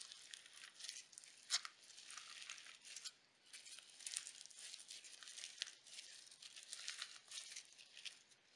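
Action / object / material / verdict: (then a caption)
scrape / slime mixed with plastic sequins / slime, sequins / none. A handheld lump of pale pink slime full of iridescent sequins is kneaded and squeezed between the fingers and thumbs of both hands. It gives off quiet, dense, bright crunchy crackles with almost no low end, coming in rolling bursts with a few sharper snaps and a brief lull partway through.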